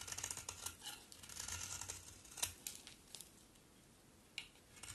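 A solid pink-brown bar of soap is held in hand and shaved with a utility knife blade, curls piling up on the table. Soft, bright scraping and crisp slicing strokes come in a dense flurry over the first few seconds, with a sharper cut near the middle. The strokes then thin out to a few quiet scrapes and a last short slice near the end.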